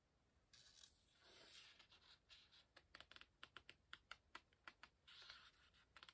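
Fingertips turn the paper pages of an open hardcover book and rub the page surfaces and corners. Soft, airy rustling swells give way to a run of quick, crisp, bright ticks and flicks, then another rustle and a few final clicks.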